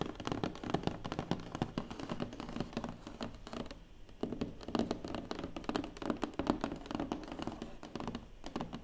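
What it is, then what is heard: Hollow cardboard box. Dozens of quick taps and knocks run together, mostly mid-low and dull, with sharp clicky nail ticks on top. Nothing rings; each hit dies at once. The soft, boomy undertone comes from the hollow air space inside a closed cardboard box, heard in a small room.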